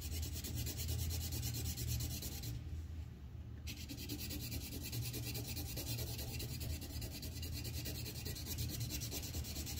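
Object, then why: Colored pencil on paper sheet on a clipboard. A red colored pencil tip scratches across a thin white paper sheet on a clipboard in fast shading strokes. A steady, scratchy rubbing runs over a constant low rumble, and the bright hiss briefly drops out for about a second before returning.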